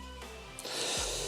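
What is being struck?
Nothing is struck.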